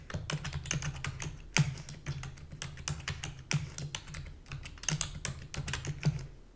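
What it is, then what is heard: Plastic computer keyboard. Rapid typing with long fingernails and fingertips on a full-size black plastic keyboard with a hollow body. It makes a quick, uneven stream of sharp, bright clicks over a low, hollow thump, with each keystroke dying away almost at once and a few harder strikes standing out.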